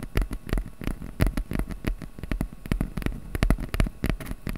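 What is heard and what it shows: Fingertips quickly tap and scratch the surface of a small, flat piece of brown corrugated cardboard held in both hands above the microphone. The result is a rapid, irregular patter of short, dry, low thuds with light scratchy texture between them. Each hit dies away almost instantly.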